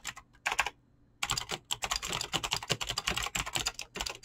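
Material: Plastic.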